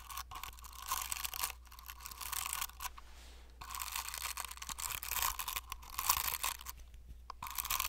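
The tips of a paint brush stipple and brush across the textured keypad face of a hand-sized, hollow plastic fidget cube with silicone buttons. Bright, scratchy bristle rustling comes in dense bursts with short crackling taps, broken by brief quieter pauses. A faint steady low hum runs underneath throughout.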